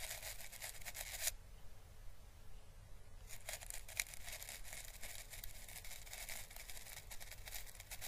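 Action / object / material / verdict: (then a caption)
scrape / dried Chinese lantern seed husk / dried plant husk / none. A hollow, orange, papery dried Chinese lantern husk, held by the fingertips, is brushed with a thin paintbrush across its ribbed surface, making soft, bright, hissy brushing strokes with light crackles. The brushing pauses for about two seconds, leaving a steady low rumble underneath, then resumes with a few sharper crackling ticks.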